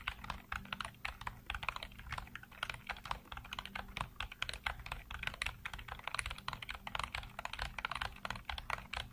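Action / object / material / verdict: tap / plastic computer keyboard / plastic / none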